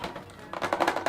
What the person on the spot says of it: it still sounds pretty hard it doesn't feel cheaper it's not stiff but it is really rubbery